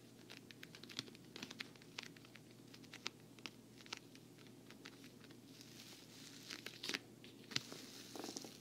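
Long nails tap and scratch the side panel of a hollow, black glossy patent vinyl travel case with a handle. Quiet, crisp, dry taps and scratchy crinkling sounds are heard, mostly high and bright, with very little low end. Near the end the scratching grows denser and a little louder.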